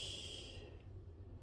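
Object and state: Nothing is struck.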